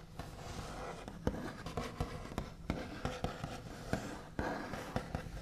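The backs of fingernails rapidly tap and scratch across a large solid wooden tabletop with a smooth white finish. Short, dull knocks with a low body around 200 Hz stand out over a steady, soft scratchy rustle. Each tap dies away almost at once.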